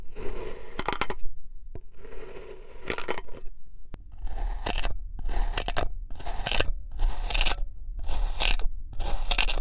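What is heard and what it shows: A long black knife slices crosswise through a purple and white kinetic sand figure-eight shape, crunching and scraping through it. Gritty, bright crunching strokes come in bursts with short silent gaps between them, first slower and then in quicker repeated cuts.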